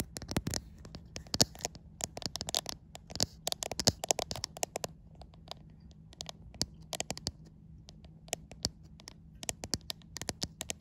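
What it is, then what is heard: Glass-backed smartphone. Long white nails tap and scratch across the glass back panel of a white iPhone in slow, irregular bursts. The taps are sharp, bright clicks with almost no ring, broken up by short scraping strokes over a faint low hum.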